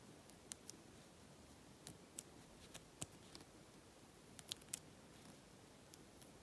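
A long nail picks and scrapes at a peeling patch of flaking synthetic coating near the pocket of a black faux leather jacket. Sparse, quiet, bright ticks and scratchy clicks rise over a low hiss at an irregular pace.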